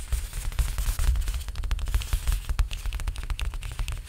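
Fingertips tap rapidly on the painted surface of a large stretched canvas held upright on its frame. The result is a fast, irregular patter of dull, low drum-like thumps with short, crisp clicks layered on top. Each tap dies away almost at once.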